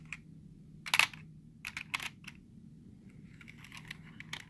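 Fingertips quickly tap the letter keys of a black plastic computer keyboard with hollow keys. The taps are short, bright, hollow clicks that come in uneven bursts, with a loud cluster near the start and softer, scattered ticks later, all over a faint low steady hum.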